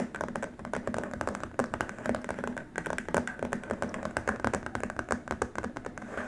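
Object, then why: Plastic keyboard wrist rest. Both hands tap and scratch with fingertips and short nails across a long, flat white plastic keyboard wrist rest. The result is a fast, steady stream of dry, clicky taps mixed with light scratching. Each tap carries a hollow tone around 240 Hz and dies away almost instantly.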